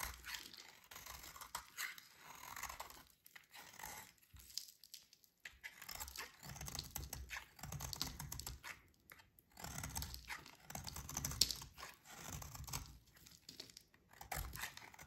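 A metal utility-knife blade scrapes and shaves a solid, dry green oval bar of soap held in a hand with long dark nails, and the shavings pile up below. The sound is quiet, bright, crisp scraping and crunching, coming in repeated bursts of strokes with brief pauses between them.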